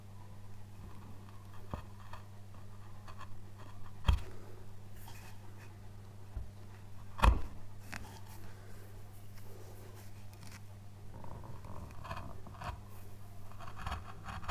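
A gloved hand uses a chisel to cut a curved groove in the edge of a thick solid basswood relief carving panel, working in short strokes. Soft scraping and slicing cuts run over a steady low hum, and two sharper knocks stand out clearly above the rest.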